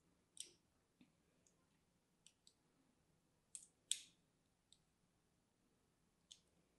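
A small solid bar of soap with green and white stripes, held in one hand, is scratched and carved with a thin metal needle tool. Sharp, bright clicks and scrapes come in a sparse, irregular series over quiet background. Each one is brief and dies away almost at once.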